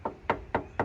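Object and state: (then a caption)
Hard, solid carbon fiber car panel. Four sharp knocks on the structural carbon fiber body panel of a McLaren 650S Spider, each a hard, short, metal-like tap centered near 930 Hz that dies away almost instantly. The panel sounds solid and hard, as hard as metal, unlike aftermarket carbon parts.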